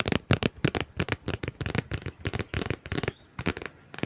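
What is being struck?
Hardcover book.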